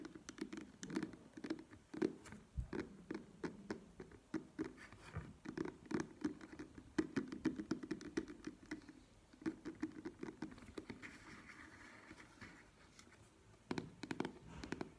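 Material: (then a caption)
Plastic. Long nails tap the front and back of a held plastic cosmetic cream squeeze tube in quick, irregular bursts. The taps are short, dry, hollow plastic ticks with a low-mid body around 300 Hz, plus occasional scratchy brushes. A quieter, softer stretch comes before a final cluster of sharper taps.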